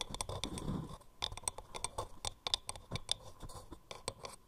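Long painted nails tap and click rapidly on the grooved sides of a hollow, turned, palm-sized wooden mortar held close. The result is a quick run of dry, bright clicks with almost no ring, mixed with soft scratchy rubbing, especially at the start.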